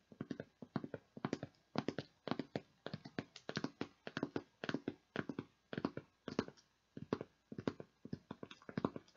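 Long nails tap rapidly on the lid and sides of a clear plastic tub with a plastic lid, hollow and partly full of beads. The quiet, dry clicks come in quick clusters, each dying out almost at once, with a hollow low-mid body and little high brightness.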